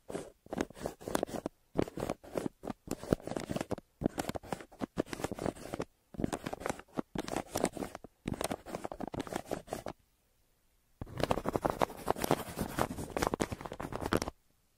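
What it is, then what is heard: Pencil scribbling on kraft paper. A hand scribbles with a yellow wooden pencil on a thin, crumpled brown kraft paper mailer lying flat. Quick bursts of dry, papery scratching strokes come in rapid clusters with short gaps. After a brief silence near the ten-second mark, a longer, denser stretch of scribbling follows.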